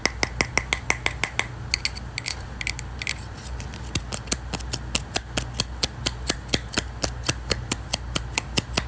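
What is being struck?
Small thin wooden disc.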